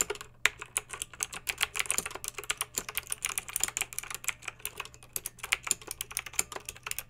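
Long pink acrylic nails type on a backlit plastic mechanical keyboard with round plastic keycaps, producing a steady stream of quick, bright clicks and clacks. Each keystroke is short and sharp with almost no ring, over a faint low hum.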